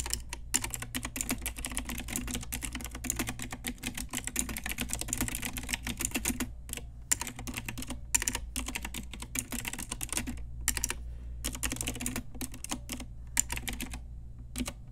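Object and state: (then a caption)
Plastic mechanical keyboard. Long nails and fingertips type steadily on an Ajazz pink retro typewriter-style plastic mechanical keyboard with round plastic keycaps. The result is a dense stream of sharp, bright clacks with a few brief pauses, over a steady low hum.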